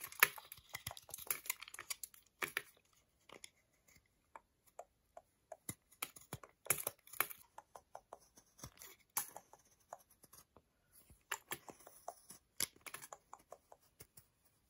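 A solid milk chocolate bar with square segments, held flat in the hands, has its surface scraped again and again with a utility knife blade, raising shavings. The result is quick, dry, bright scratches and crackles in dense bursts, separated by short quiet gaps, with very little low end.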